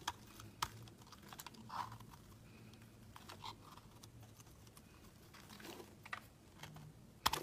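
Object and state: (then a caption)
Soap bar carved with a blade. A solid, opaque pink embossed soap bar is held in the hand and carved into flakes with a metal utility knife blade. Quiet, dry scraping and crisp cutting ticks come in scattered, uneven bursts over a faint low hum, ending on a sharper, louder snick.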